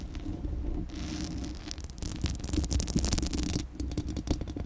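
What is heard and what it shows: Long acrylic nails scratch rapidly across the uncovered, hollow metal mesh grille of a Blue Yeti microphone. The result is a dense, crackling scrape over a heavy low rumble, with bright scratchy bursts that grow busier and louder in the middle of the clip before easing off.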